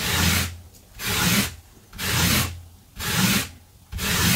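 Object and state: Synthetic loop-pile carpet being brushed.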